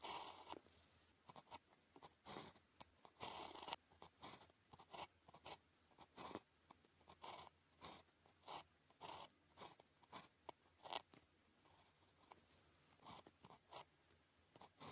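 A ballpoint pen writes characters on a flat sheet of thin paper with a red grid, making short, dry scratching strokes and dots. The many brief strokes sound bright and papery with almost no low end, and there are quiet pauses between the bursts.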